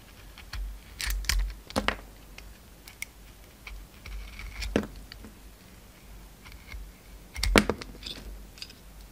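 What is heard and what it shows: A pink utility knife blade shaves and scrapes the glittery brown outer coating off a hand-sized solid oval bar of soap with a lilac core, held in the palm. Short, crisp, bright scraping and crackling strokes come in irregular bursts, with quiet pauses and a faint low rumble between them.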